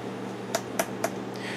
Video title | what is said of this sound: Canon AE-1 Video Manual 1 of 2 | if we tap on them, they sound metal